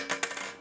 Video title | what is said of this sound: Selçuk Üniversitesi TV Haberciliği Dersi Projemiz - 2019 | sahte altının sesine dikkat edelim Bakın bu ne kadar daha farklı